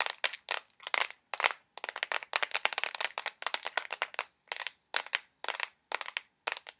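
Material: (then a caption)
Plastic. A small, filled, clear plastic box of push pins is tapped with fingernails and lightly shaken. The result is fast, dense bursts of sharp, dry clicks and rattles with a bright, crackly tone. There is almost no low end, and each burst stops instantly without ringing.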